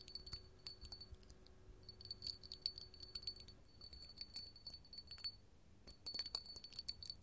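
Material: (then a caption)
Glass. An empty, small, clear hollow glass candle holder with a bumpy hobnail surface is held in the hand and tapped and scratched with long gold metal filigree finger claws. The result is quiet, rapid, bright clinks and scratchy ticks with a thin, high glassy ring that dies away almost at once, in uneven bursts with brief pauses.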